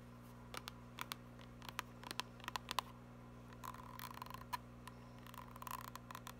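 Long nails tap and scratch a small, filled, white Lancome plastic cream tube, giving soft, dry clicks and brief scratchy bursts. The sharp taps ring around 1 kHz with bright edges over a quiet, steady low hum. Each sound dies away almost instantly.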